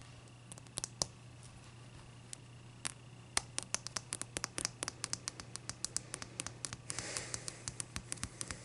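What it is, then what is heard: Ice block tapped with fingernails. Long dark-purple nails tap and scratch the top and sides of a large, clear, solid ice block with bubbles inside, resting on a white towel. Sharp, bright clicks start sparse and then come quickly and evenly, with a brief scratchy rasp around the seven-second mark. A steady low hum runs underneath throughout.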